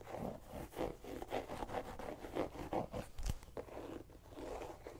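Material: Pumpkin rind.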